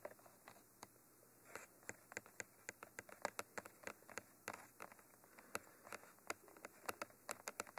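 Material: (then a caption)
Metal mesh. Fingers tap and scratch the silver cage ends of a Mitra 3D Pro binaural microphone, a hollow black textured cylinder. Quiet, sharp, dry clicks land in an irregular stream, each dying away almost instantly. Softer scratching fills the gaps, and there is little low end under the bright, crisp detail.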